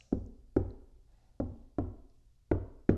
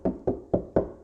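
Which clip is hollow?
The second.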